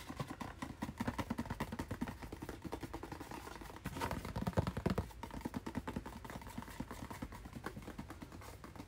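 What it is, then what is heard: Cardboard package. A hand-sized, hollow white and blue cardboard retail package with a hang tab is held while fingernails scratch and tap quickly across it. The result is a steady run of dry, papery clicks and scrapes with a hollow, low body and almost no ring. A denser, louder patch of scratching comes about midway through.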